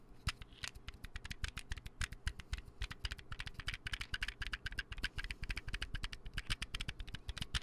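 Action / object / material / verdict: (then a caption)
tap / small plastic bottle and lid / plastic / none. A small white hollow plastic container and its round lid are tapped quickly with fingertips and nails right next to the mic. About four dry, short clicks per second come in an irregular rhythm, each with a soft low thump under a bright plastic tick. The taps die away almost instantly.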